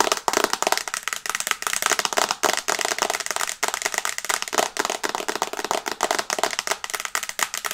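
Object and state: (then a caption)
Glass tablet screen tapped with fingernails. Long red nails tap rapidly on the large flat glass screen of an iPad held in both hands in a teal and brown plastic case. Dense, fast clicky ticks with a bright, crisp top and almost no low end, each tap dying out almost instantly.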